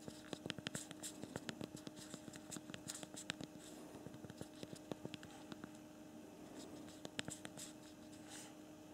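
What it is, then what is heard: Plastic phone keyboard keys being typed on. Two thumbs type rapidly on the backlit physical plastic QWERTY keyboard of a small handheld BlackBerry Priv smartphone, producing a quick stream of short, crisp plastic clicks with brief bright ticks. A steady low hum with faint tones runs underneath, and the typing ends with a finger touching the screen.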